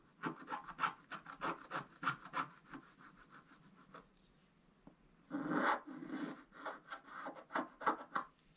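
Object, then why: Scratch-art card with black coating over foil, wooden stylus. A wooden stylus scratches a flat, thin scratch-art page coated in black over gold foil, making quick, dry rasping strokes in an uneven rhythm. After a brief quiet pause, a longer, louder scrape is followed by more short strokes.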